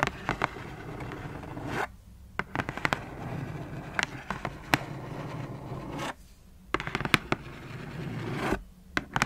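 Long fingernails on both hands tap and scratch across the closed lid of a black cardboard shoebox. A steady dry scratching runs through the clip, broken by sharp clicking taps and three brief silent pauses.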